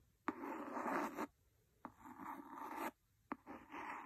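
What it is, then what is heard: Cloth-bound hardcover book. A wooden pencil, held by a hand with painted nails, taps and scratches the cover of a large, solid, red cloth-covered hardcover book. Three sharp taps each start a rough, dry scratching stroke across the cloth, with the scratching sitting mostly in the mid range and quiet pauses between passes.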